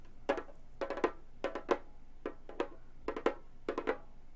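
Long gold metal finger claws tap the synthetic head of a round, hollow Remo frame drum, with one hand lifted at the start. Sixteen quick, dry taps fall in small uneven clusters, each a short hollow knock with a bright clicky edge that dies away almost at once.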